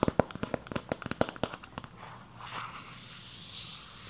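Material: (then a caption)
Cardboard. Long acrylic nails tap and scratch across a hand-sized, flat rectangular cardboard eyeshadow palette with a purple peacock-feather print, held in both hands. About fifteen quick, dry, hollow taps come first, followed by a soft, steady, bright scratching hiss across the surface.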